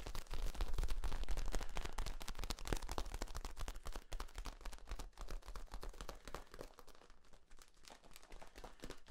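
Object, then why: Corrugated flexible plastic tube. Both hands squeeze and rub along the ribs of a long, hollow, ribbed, flexible yellow corrugated plastic tube, producing a rapid, irregular stream of crinkly clicks and crackles over a low rumble. The rubbing is loudest in the first few seconds, then continues a little softer and more sparse toward the end.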